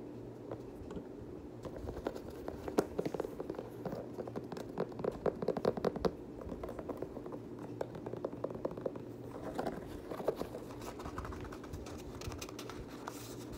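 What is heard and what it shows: Fingertips and nails scratch the knit upper of an empty multicolor pastel Nike Kobe 9 high-top sneaker with a rubber sole, held in hand. The result is a quiet, steady run of soft, dry scratches and crinkly ticks, mostly in the low-mid range, with brief sharper peaks.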